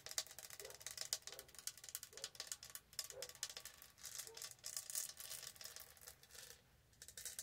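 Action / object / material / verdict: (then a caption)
scrape / studded plastic tumbler / plastic / none. Long painted nails scratch and tap across the textured studded surface of a light blue matte plastic tumbler with a lid, held close to the mic. The sound is a dense, bright, crackling run of fast clicks and scrapes, like a ratchet, with short ticks that die away almost instantly. It dips briefly quiet near the end before the scratching resumes.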